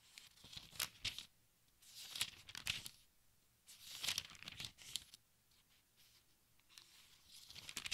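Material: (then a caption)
Thin paper. Fingertips and nails turn the thin, crinkly pages of a large open textbook one by one, producing bright, papery rustling and crinkling. The sound comes in several bursts with quiet gaps between them, and each page makes sharp, high crackles.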